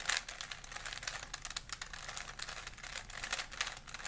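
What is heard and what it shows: A small solid plastic 3x3 Rubik's cube is held in both hands while the fingertips twist its layers. The result is a dense, continuous run of rapid, bright plastic clicks with short, dry decays and little low end.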